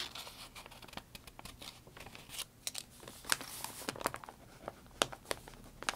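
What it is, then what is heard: Crinkled paper notebook pages. A hand presses down on the wrinkled, stiff pages of a thick, open paper notebook lying on a wooden table while the other hand writes on them with a pencil. Soft, bright pencil scratching mixes with irregular, crisp crinkles and crackles of the paper at a quiet, close level.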